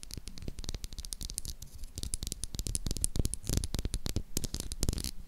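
Long acrylic nails rapidly tap and scratch the face of a light blue solid bar of soap with an embossed logo. The result is a dense run of short, dry clicks and scratchy ticks with a low, dull thump under each tap.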